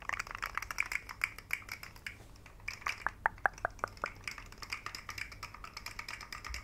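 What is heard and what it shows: A rainbow segmented plastic fidget slug toy with hollow jointed segments is held by the fingertips and flexed and shaken. Its segments make quick, dry, bright clicks. A denser run of sharp clicks comes in the middle over a faint background hiss.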